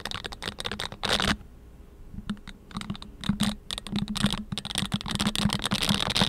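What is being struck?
Silicone scrubbing gloves with bristle pads.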